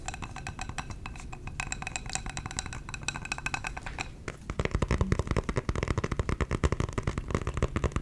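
Fingers tap rapidly on a glass candle jar, at first with soft, light taps that give off faint bright clinks. About halfway through the tapping grows louder and heavier, becoming a quick run of dull, low knocks that stop almost at once.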